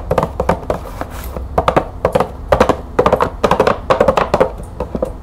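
Long nails tap quickly on a green cardboard bulb box with a clear plastic window over its compartments and bulbs inside. The result is a fast, uneven run of short, dry, hollow ticks with a midrange body, little low end and almost no ring, grouped into bursts.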